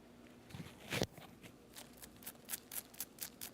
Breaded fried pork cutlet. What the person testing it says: You hear that? How crispy that is.